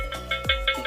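A freshly fired clay cooking pot, just taken from the fire, is tapped slowly five times, each tap giving a short, bright ringing tone over background music. The sound shows the pot is fully fired and ready for use.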